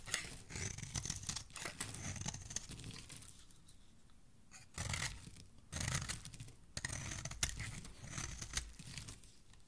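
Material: Soap.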